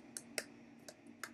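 Light taps on the cardboard stand that holds a Pusheen chalkboard, which sounds like cardboard. Four short, dry clicks are heard, bright and quick with almost no ring, over a faint steady hum.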